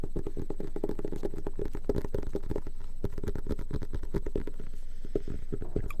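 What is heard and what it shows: A leather-bound journal is tapped and scratched in a quick, somewhat uneven run of soft, dull taps. The taps are low and muffled, with almost no high-frequency content, and each one dies away almost instantly.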